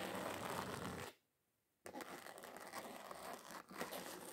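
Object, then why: Thin glitter-coated card. Long acrylic nails rapidly tap and scratch across the textured surface of a thin, solid, flat red glitter-covered card sheet, making a dense, gritty crinkling rasp. The scratching stops for under a second of near silence, then resumes as steady, uneven scraping with a brief dip before picking up again.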